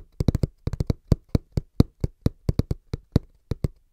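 Hands tap quickly and rhythmically on a cardboard box, giving about twenty dull, low thuds in uneven clusters over four seconds. Each tap is short and dry with almost no ring, and the sound is mostly low with little brightness.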